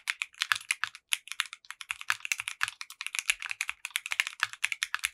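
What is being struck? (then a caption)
Mechanical keyboard with plastic keycaps. Fingertips of both hands type rapidly on a compact 60% mechanical keyboard with clear pink polycarbonate keycaps and a translucent case. The bright, crisp clicks and clacks are very short and dense, with some lower thocks between them.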